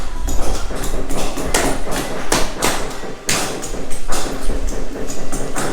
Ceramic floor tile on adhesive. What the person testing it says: they don't get that hollow ring to it that's how they can tell that they've got a good a good fix